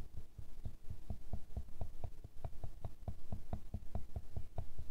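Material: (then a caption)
Glass. A thin wooden stick taps a square glass perfume bottle full of amber liquid, which rests on fur and is steadied by hand. The taps come in a quick, uneven rhythm as short, dull, low thuds with almost no ring, over a faint steady low hum.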